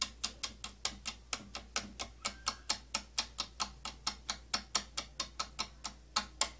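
Long nails tap the rim and side of a round, hollow purple plastic inner compartment with holes from a tattoo kit box. About 30 crisp, bright clicks come in a steady, quick rhythm, each dying away almost at once over a faint low hum.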